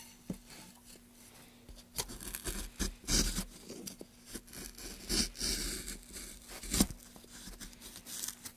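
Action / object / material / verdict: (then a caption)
scrape / softwood block / softwood / none. A gouge held in gloved hands scrapes and cuts grooves into a solid pale softwood block. The result is a run of short, dry shaving and scraping strokes with bright, crisp edges. A faint steady hum sits underneath.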